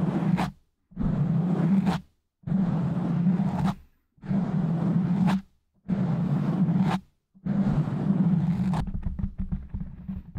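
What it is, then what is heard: Foam microphone windscreen. Fingertips of both hands rub and scratch the sides of a black foam microphone windscreen in slow strokes. The result is six separate bursts of muffled, low, rumbling scraping, each about a second long with short silent gaps between them. The last burst runs longer and breaks into a patter of small crackles.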